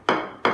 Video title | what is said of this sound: Ep35วิธีตรวจพื้นกระเบื้อง ว่าปูดีไม่ดี ง่ายๆโดยใช้ไม้เคาะดู | ส่วนอ่าด้านที่ปูนกาวติดแน่นนะครับเ ก็ดันแป๊งๆๆแบบนี้นะครับ